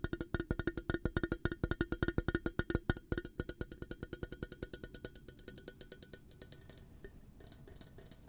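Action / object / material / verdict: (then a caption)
tap / glass coffee carafe / glass / none. An empty, clear glass coffee carafe with a black handle is tapped rapidly on its hollow glass body with fingertips and nails. The taps form a quick, uneven series of short, bright clicks with a faint glassy ring. They are strongest in the first few seconds, then grow softer and thinner toward the end.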